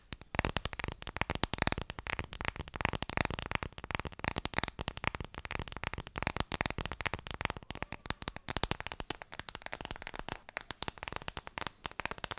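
Fingertips tap rapidly on an Ideal of Sweden phone case. The result is a dense, steady stream of short, dry clicking taps for about twelve seconds, with no voice.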